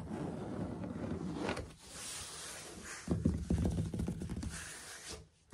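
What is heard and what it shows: Fingertips and short nails tap and knock on solid, dark grey textured ceramic floor tiles with light grout lines. A soft scratchy rustling gives way to a run of quick, dull, low knocks that die away almost instantly, ending in a near-silent pause and one last faint tap.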